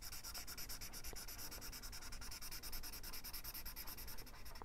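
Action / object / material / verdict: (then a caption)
scrape / felt-tip marker on paper / paper / none. A felt-tip marker rubs rapidly back and forth across a page of an open paperback coloring book on a wooden table, coloring in a circle while the other hand holds the page. The strokes make a quiet, steady, bright scratchy rubbing with a faint low rumble underneath.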